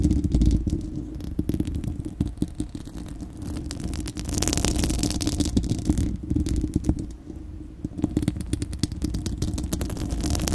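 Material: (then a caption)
Steel mesh. Long acrylic nails on both hands scratch a bare, hollow, fist-sized spherical steel wire-mesh microphone grille. The sound is a dense, rapid, uneven scratching and clattering with a heavy low rumble, interrupted by brief brighter hissy swells.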